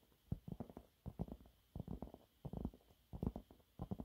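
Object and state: Cellulose sponge cloth.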